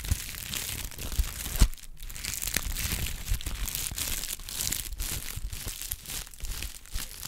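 A folded brown honeycomb kraft paper pad is rubbed and crinkled with the fingertips. It makes a steady, dense crinkling and crackling with bright papery texture over a soft low rumble, and a few sharper crackles stand out.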